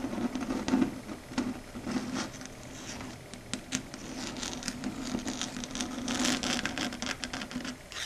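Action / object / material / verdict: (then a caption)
tap / fingernails on a chalkboard / unknown / none. Long red acrylic nails tap rapidly on a flat dark grey chalkboard surface. Quick, crisp clicks with bright edges patter unevenly over a faint, steady low hum.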